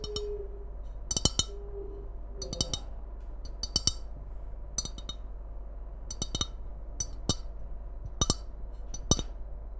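Long red nails tap and scratch the outer surface of a tall, hollow white ceramic mug with a red Christmas print, held in both hands. Quick clusters of bright, clicky taps die away almost instantly, with faint scratching in between, over a steady low hum.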